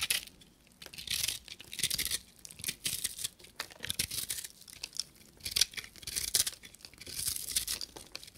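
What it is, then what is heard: Dry soap bar shaved with a knife. A solid dry soap bar with a copper-painted crust and a blue, fluffy inside is held in the hand and scraped and shaved with a knife blade. Repeated bursts of crisp, bright scraping and crumbly shaving follow one another, with very little low end.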